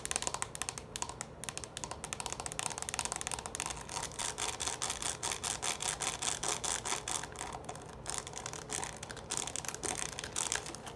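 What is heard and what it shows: Long nails tap quickly on the base and sides of a small, hollow orange plastic bowl held upside down in both hands. The result is a quiet, dense stream of bright, dry clicks in an uneven rhythm, each dying away almost at once.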